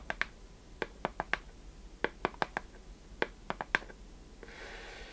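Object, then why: Small wooden chest with metal fittings. Long painted nails tap and scratch the worn wooden underside and side of a small hollow wooden chest box with metal fittings, held tilted up in the hands. Fourteen short, dry, hollow taps with a bright click sound in quick uneven bursts. A soft, airy scratching follows at the end.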